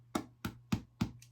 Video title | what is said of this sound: The Easiest Sourdough Bread Recipe (No Experience Required!) | Tap it and it's hollow, it's done.